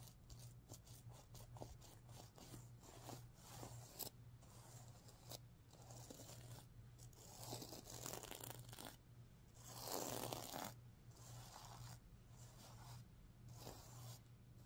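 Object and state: Sequin pillow being rubbed.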